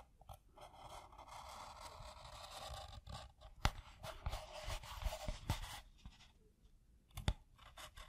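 A black pen tip scrapes along the edge of a tan pebble-grain leather piece, adding and tracing black lines before lifting away at the end. A steady, rough scratching texture is heard, broken by sharp clicks and taps where the tip catches or touches down. Quieter pauses come near the end, with a low dull undertone throughout.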